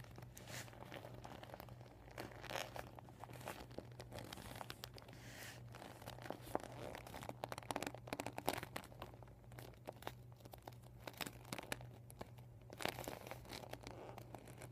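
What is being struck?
Vinyl beach ball.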